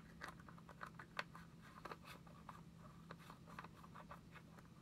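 A small round white plastic cream jar with a lid, held in one hand, is tapped with long acrylic nails in a quick, irregular series of light, dry clicks. Each click is short and bright, with a tone near 1.5 kHz, over a steady low hum.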